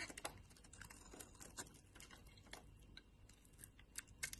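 A brown solid bar of soap, held in the hand, is shaved with a box-cutter blade, and dense curled shavings pile up. The sound is a quiet run of crisp, bright scraping ticks and soft crackles over a low hiss, with a few sharper clicks standing out.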